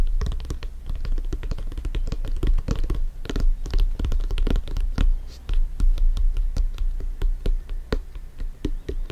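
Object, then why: Soccer ball, synthetic leather. A soccer ball is tapped rapidly and repeatedly for about nine seconds, giving a dense run of short, dull thumps with a deep low-frequency body. Each tap dies away almost instantly, with faint scratchy touches mixed between them.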